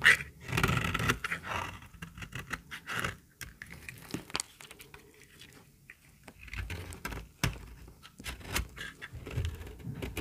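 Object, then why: Bar soap shaved with a metal blade. A small, solid, white, very dry bar of soap is held in the hand and shaved with a metal utility-knife blade, and the flakes pile up on the table. Short, dry scraping and crisp cutting sounds come in quick, irregular bursts over a low background rustle.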